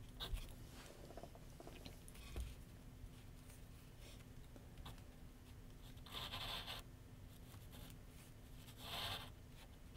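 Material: Paper.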